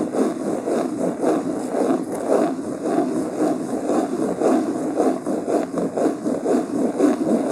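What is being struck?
Linen cloth-covered hardcover book.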